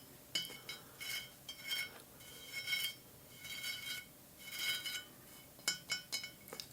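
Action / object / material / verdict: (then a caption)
tap / small ceramic pumpkin decoration / ceramic / none. A small ceramic decorative pumpkin is tapped and clinked over and over, giving bright, glassy clinks that ring briefly at a high pitch. Seven distinct taps come in loose, uneven clusters with quiet gaps between them.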